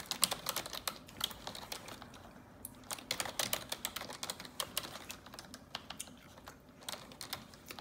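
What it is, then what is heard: Plastic computer keyboard being typed on. Fingers with long neon-yellow acrylic nails type rapidly on the hollow keys of a black plastic desktop computer keyboard. Quick, bright, dry tapping and clicking come in bursts, with brief quieter gaps between runs.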